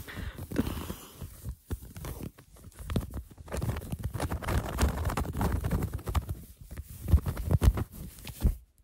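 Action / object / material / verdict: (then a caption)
scrape / cotton fleece sweatshirt / cotton fleece / none. Hands scratch and rub a worn cream cotton fleece sweatshirt with raised blue-and-white embroidered letters. The result is a dense run of quick, dull, muffled scratches and soft thumps, heavy in low bass with almost no bright high end, and it stops abruptly at the end.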